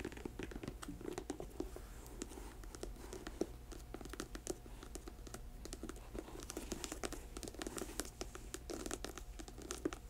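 Long nails tap and scratch a black patent leather boot, first on the glossy upper and then on the treaded rubber sole once the boot is turned over. A quiet, steady run of sharp clicks and dry scratching fills the close, small-room sound, with each tap dying away almost at once.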